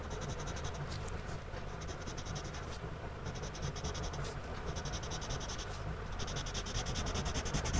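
A gloved hand shades with a blue-bodied pencil on a spiral-bound paper sketchbook page lying flat, the tip scratching across the paper in repeated strokes. A steady, dry scratching with bright, rhythmic bursts sits over a low, constant rumble.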